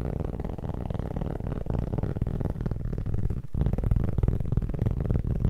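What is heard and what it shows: Fingertips tap and scratch the surface of a solid, round, flat cork board held close to the mic, producing a dense, fast run of dull, low thuds and rough scratching. The sound stays heavy in the lows with almost no high end, and each tap dies away instantly, with a brief gap near the middle before it resumes slightly louder.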